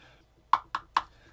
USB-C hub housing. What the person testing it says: sounds hollow but it feels pretty sturdy